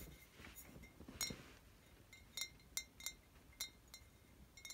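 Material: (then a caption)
Glass. Glass wine bottles from a home collection are tapped and clanked together, giving eight bright, high-pitched clinks with very short ring, spaced irregularly over a quiet background.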